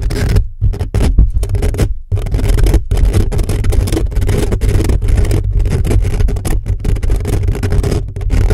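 Fingertips and short nails of both hands rapidly scratch the hollow metal mesh grille of a black condenser microphone. The result is a dense, continuous, booming scrape, heavy in deep low-frequency rumble with a steady drone around 60 Hz. Brief dropouts break it up when the fingers lift off.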